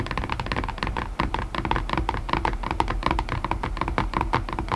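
A white cardboard box lid resting on its box is tapped rapidly with long nails. The result is a steady stream of quick, hollow clicks with a faint tone near 900 Hz over a soft low thump, each tap dying away almost at once.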